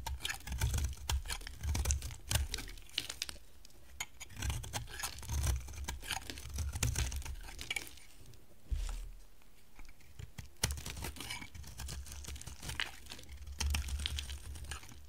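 An oval, hand-sized bar of dry, solid orange soap with a teal rim is shaved with a box-cutter blade, producing curls. Rapid, crisp scraping and crackling strokes come in bright, dry bursts over a low, steady rumble, with brief pauses between passes.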